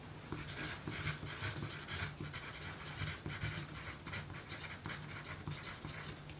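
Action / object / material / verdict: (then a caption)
scrape / graphite pencil on thin paper card / paper / none. A graphite pencil tip writes and scratches across a small, thin pink paper note card on a dark table while the other hand steadies the card. Steady, dry scratching strokes come through with a bright, papery hiss, all over a constant low hum.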